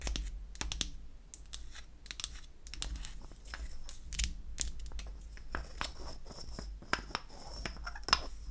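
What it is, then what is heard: Wooden lipstick tube. Long acrylic nails tap and scratch on a small, light wooden lipstick cylinder held in the hand. Rapid, dry, bright clicks that die away almost instantly mix with scratchy, crinkly rasps over a steady low hum.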